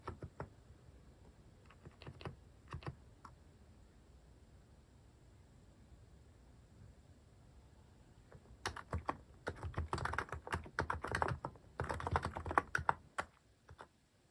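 Fingertips type on a mechanical keyboard with a white plastic case and cat-shaped plastic keycaps. A few scattered, crisp clacks open the clip and give way to a quiet pause. A fast, dense run of typing then builds to its loudest and tapers off with a few last taps.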